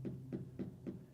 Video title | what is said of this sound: Welcome to My Nightmare, I Think You’re Gonna Like it. (Trans Am LT Swap Ep.6) | it's just like a solid thump